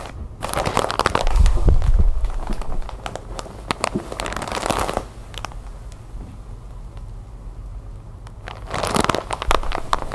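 A large, sealed, clear plastic bag full of white cotton balls lies flat on a wooden table while long white nails and fingertips scratch and tap across it. Fast, crinkly plastic scratching and tapping comes in bursts, busiest between about 1 and 5 seconds. It then drops to quieter, sparse taps before a final burst of crinkling near the end.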